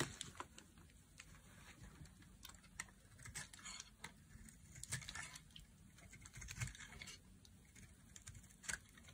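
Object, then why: Bar of soap. A solid, dry red oval bar of soap held in the palm is carved with a knife blade into thin shavings. The result is a quiet run of crisp, dry scraping and cutting crackles with bright, brief clicks that die away almost instantly.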